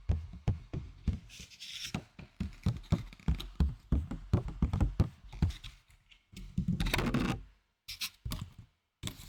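A plastic candy box that once held sweets is tapped with rapid, dull, low knocks that stop almost at once, some faster bursts carrying a brighter clicky edge. The hollow plastic tone is judged not the best plastic, with cups sounding better.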